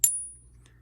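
A magnetic counterfeit "silver" coin is struck once with another coin in a ping test. It gives a short, dull clack that fades within a fraction of a second, with only a faint high tone and no clear ring. The dull, ringless sound marks the coin as fake, unlike a genuine silver coin.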